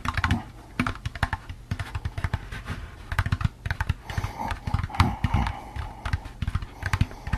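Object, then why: Plastic pumpkin candy bucket. Fingertips and nails tap rapidly and irregularly on an empty, medium-sized hollow orange plastic jack-o'-lantern candy bucket with a wire handle, held in the hands. The taps make quick, dull, low hollow thuds with a faint clicky edge from the nails, and each one dies away almost at once.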